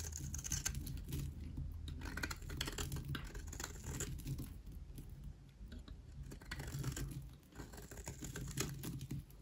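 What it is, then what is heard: Dry soap bar shaved with a knife. A metal knife blade repeatedly scrapes and shaves the corner of a palm-sized, solid rectangular bar of dry white soap held in one hand, curling off shavings that fall onto the table below. The sound is a steady run of dry, crackly scratches and rasps over a low hum, rising and easing in waves as the blade strokes across the soap.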